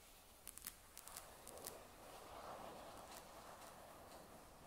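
Long nails tap the flat magnesium back casing of a grey Surface tablet lying face down, giving quick bright clicks in uneven clusters over the first two seconds. After that, added echo trails off into a soft, washy hum as the last few faint taps fade.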